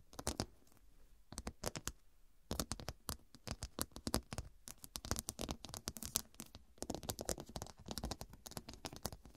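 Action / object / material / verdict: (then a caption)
tap / fabric cushion with glass studs / glass / none. Long dark pointed nails tap across a fabric cushion covered in square faceted glass studs. The result is a dense run of sharp, dry clicks with a bright edge and almost no ring, some arriving in quick flurries and others spaced apart, with brief gaps between bursts.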